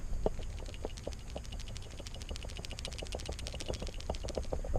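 A manual boost controller (bleed valve) for a turbo Silverado is shaken by hand, and the loose ball and spring inside rattle in a quick, steady stream of light, sharp clicks. The rattle means the ball has no spring preload, so the valve will make no change to the wastegate or boost level until it is turned clockwise and the rattle stops.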